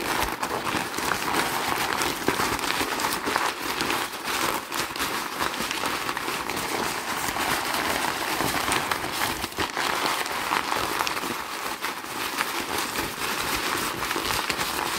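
A loose wad of crumpled thin brown kraft packing paper, held in both hands, is squeezed and crumpled by the fingers. It gives a steady, dense stream of hollow, crinkly crackling rich in bright high frequencies, with no distinct pauses across the clip.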